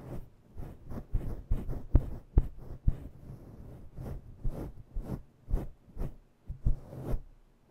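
Long nails scratch a synthetic faux-fur microphone windscreen with both hands. Muffled, scratchy rustling comes in quick, uneven bursts, with heavy low-end thumps where the nails press into the fur and a faint bright hiss on top. There is no talking.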